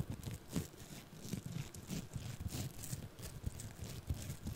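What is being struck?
Small lump of foam-bead clay handled and scratched with a thin stick.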